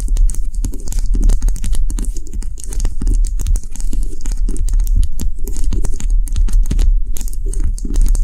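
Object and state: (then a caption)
Wax bubble cube candle. A small solid white cube-shaped bubble candle of wax, sitting on a dark table, is tapped quickly all over by long nails. The result is a fast, dense, continuous patter of short dull taps with a low, thumpy body and a faint bright click on each hit.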